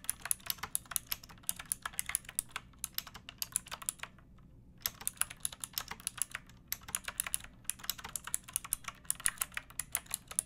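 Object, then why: Plastic typewriter-style mechanical keyboard with round keycaps. Long painted nails and fingertips type on a pink backlit typewriter-style mechanical keyboard with round plastic keycaps and a hollow plastic case. Quick, bright, clicky keystrokes come in bursts over a faint low hum, with a short pause around four to five seconds before the typing resumes.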